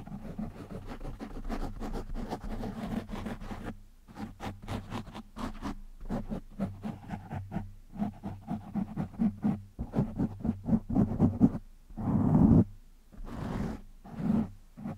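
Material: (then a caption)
Foam. Fingertips of one hand scratch a black foam windscreen on a microphone, producing a rapid run of dry, muffled scratching strokes with a strong low rumble and brief quiet gaps. The rubbing builds to its loudest in a sustained burst near the end before tapering off in a few more strokes.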